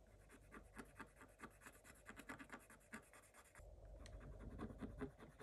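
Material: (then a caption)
Coated paper. A thin wooden stylus scratches short strokes into the black coated scratch-art page of a spiral-bound book lying flat on a table. Quiet, dry, papery scratches come in an uneven rhythm of brief strokes over a low steady rumble that grows slightly louder partway through.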